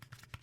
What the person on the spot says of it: this one has a little bit more plasticky feel to it